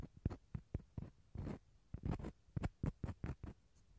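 A small hollow dried gourd half has its inner surface scratched with a toothpick and fingernails. It makes quick, dry scratching and rasping strokes with a hollow, low-bodied tone. A few strokes are longer, drawn-out scrapes.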